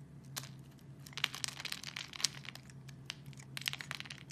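A metal utility blade scores a solid purple soap bar, held over a wooden surface, into a grid, and small cubes break loose. Quiet, bright, crisp crackling and crunching snaps come in quick bursts over a faint steady low hum.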